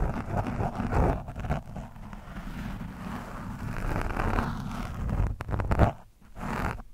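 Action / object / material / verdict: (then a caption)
scrape / foam microphone windscreen scraped with a screwdriver tip / foam / none. A screwdriver tip scratches the front of an orange foam microphone windscreen. This produces a continuous, muffled, rumbling scrape that is heavy in the low end with almost no bright content. A louder burst comes near the end, then a brief drop before the scratching resumes.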